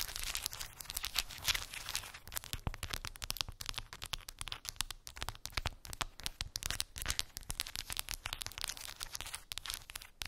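Long pink acrylic nails tap and scratch a small square cork board covered in glued round wooden beads. Dense, rapid clicks and scratchy rattles fill the clip with bright, crisp detail. Each tap is short and dry, with almost no ring.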